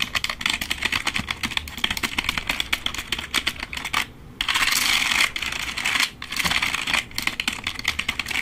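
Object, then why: Plastic membrane computer keyboard. Fingertips type quickly on a black plastic membrane computer keyboard held beside the head. The result is a rapid, bright clatter of short, dry key clicks with almost no low end, and a brief pause near the middle. It swells into denser, continuous bursts of tapping in the second half.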